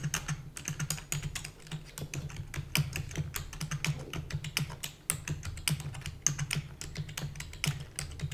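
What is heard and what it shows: Rapid typing on a full-size black plastic keyboard with hollow keys, struck with long natural nails and fingertips. A fast, uneven stream of short, bright clicking taps rides over a steady low hum.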